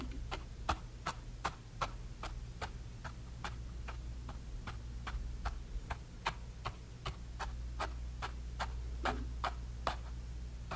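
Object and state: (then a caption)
Canvas panel stippled with a brush. A bristle brush stipples paint onto a small painted canvas panel with quick, repeated taps. Each tap makes a short, dry, bright tick, at a fairly steady but slightly uneven pace over a constant low hum.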